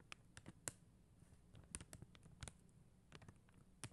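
Long acrylic nails tap and click on a flat acrylic rhinestone sticker sheet, a sheet of plastic gems on white backing. Ten or so quiet, sharp clicks come at an irregular, unhurried pace. Each has a bright tick and a soft low thud that dies away almost instantly.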